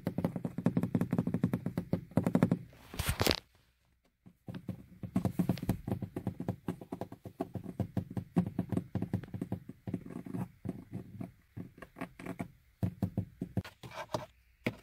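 Long painted fingernails tap and scratch on a hollow, molded plastic car door armrest panel near the door handle. The result is a quick run of dull, low-pitched clicks that die away almost at once. The clicks are broken by a brief silence and by bursts of brighter, hissy scratching.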